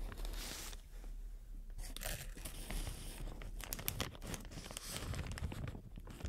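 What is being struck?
Inflated plastic air cushion packaging.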